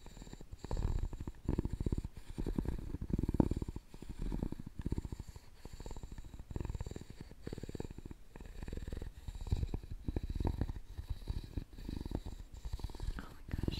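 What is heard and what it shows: A wooden stick scrapes along the side of a round, hollow, openwork carved wooden jewelry box. The result is a low, rapid, rattling scrape. It rises and falls in soft bursts with a purr-like texture and almost no high end.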